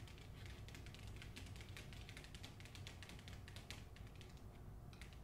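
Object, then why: Hardcover book with paper jacket. Long nails tap and scratch the front cover of a hardcover novel with a paper dust jacket, making a quick, uneven run of dry, bright clicks over a steady low hum. At the end, the book is moved closer to the side.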